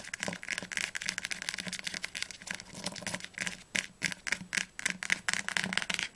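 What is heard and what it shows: Long fingernails tap rapidly on the spine of an orange hardcover Hunger Games book held upright. The result is a quick, uneven run of bright, dry clicks centred around 2 kHz, each one dying away almost instantly, with little low-end weight.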